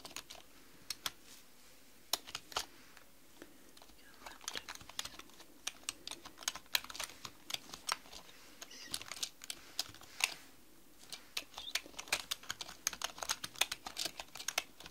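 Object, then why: Plastic mechanical computer keyboard. Long manicured nails and fingertips type rapidly on a black mechanical computer keyboard with plastic keys. Bright, sharp clicks come in uneven bursts with brief pauses, each tap dying away almost instantly over a quiet background.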